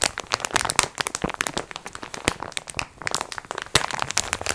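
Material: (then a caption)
Plastic film. A plastic-wrapped multipack of sponge cloths is held up in both hands while long nails squeeze and scratch its crinkly clear plastic wrap. Dense, bright crinkles and sharp crackling snaps run continuously, with a few louder cracks standing out. There is little low end.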